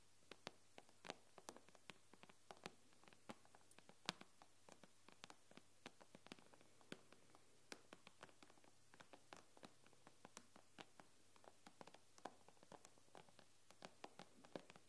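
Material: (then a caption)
Glass. Long fingernails on both hands tap the glass screen of an iPad lying on a wooden table, making around forty quiet, sharp, bright clicks at an irregular, quick pace. Each tap dies away almost instantly with no ring, over a faint steady low hum.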